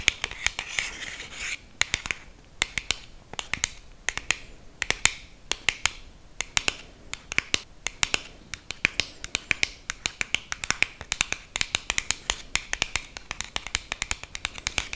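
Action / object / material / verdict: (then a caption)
tap / small cardboard box / cardboard / none. Long green acrylic nails tap on a small, narrow, empty-looking black printed cardboard box for a liquid lipstick held in both hands. The result is a steady run of dozens of quick, dry, bright clicks centred around 2.2 kHz, with almost no low end and no ring after each tap. Faint scratchy texture sits between the taps.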